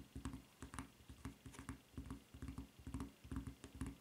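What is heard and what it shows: Long nails tap on the footbed of a white rubber flip-flop with a red print and strap. The result is a quiet, uneven run of about thirteen short, dull taps, soft and low-pitched, with little ring after each.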